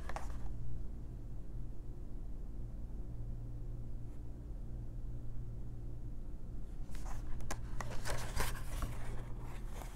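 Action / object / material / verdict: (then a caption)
scrape / paper coloring book pages / paper / none. Long nails riffle and flip through the stack of paper pages in an open paper coloring book, rubbing their edges. A brief papery rustle at the start gives way to a quiet stretch over a steady low hum, then bright, crackly rustling and page flicks fill the last few seconds.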